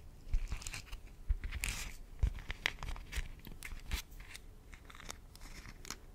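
A transparent soft plastic zip pouch with a "carré blanc" print and black dots, empty and hollow, is held in both hands and crinkled and squeezed around the microphone. It gives irregular crisp crackles with bright high hiss and low bumps. The sound is quiet and close, with short dry snaps that fade quickly.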